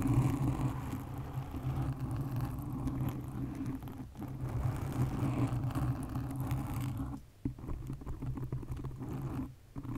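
Long nails on both hands scratch a black foam windscreen on a condenser microphone, producing a dense, low, rumbling rasp centered around 125 Hz. The scratching runs nearly continuously, easing briefly around 4 seconds and dropping out near 7 and 9.5 seconds before resuming.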